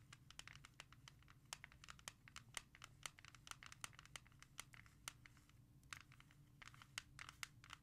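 A Destiny's Child CD in a clear plastic jewel case, held at the edge, is tapped rapidly with long nails. Quick, sharp, bright clicks die away almost instantly, over a steady low hum.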